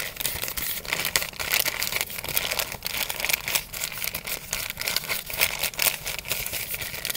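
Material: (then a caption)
Paper. An empty brown kraft paper fast-food bag, folded flat, is crinkled and rubbed with the fingers. The result is a dense, continuous stream of bright, papery crackles and rustles with quick, short bursts and almost no low end.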